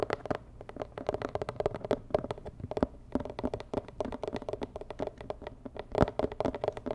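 Long nails tap rapidly and irregularly on a medium, hollow, rigid white-and-red cardboard box with a red dot. The result is a dense stream of short, dry clicks with a hollow midrange tone and almost no ring, a few taps landing noticeably harder than the rest.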